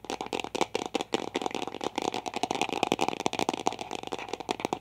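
A large, hollow, light-blue plastic toy egg held in both hands is rapidly tapped or shaken with fingertips and long nails. About 18 quick, dry, rattling clicks come in an uneven stream, with a hollow midrange tone near 770 Hz and almost no low end. Each click stops short with no ring.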